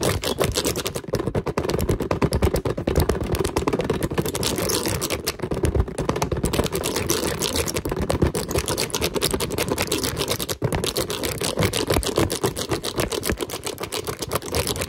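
A handheld green silicone scalp-massager brush rapidly scratches and brushes across a large red hard-plastic object with a raised bumpy pattern, likely hollow. The result is a dense, steady stream of fast clicking, rattling scrapes with a hollow low-mid body, continuing with only a brief pause near the end.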